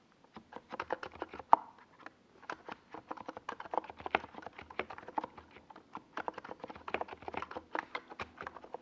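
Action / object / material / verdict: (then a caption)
tap / plastic mechanical keyboard with plastic keycaps / plastic / none. Fingertips type slowly on a NiZ Plum Atom 68, a small 68-key mechanical keyboard with a white plastic case and purple and yellow Domikey Gas Attack SA plastic keycaps, resting on a desk pad. The keystrokes are crisp, short, mid-pitched clacks with a brief pause near two seconds and one sharper, louder keystroke early on.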